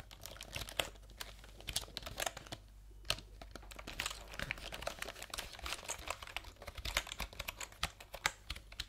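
Fingertips type and tap on a backlit plastic computer keyboard with round keycaps, held horizontally between the microphones. The result is a quick, uneven patter of bright, dry clicks that stop short with no ring, broken by a brief pause near the middle, over a faint steady low hum.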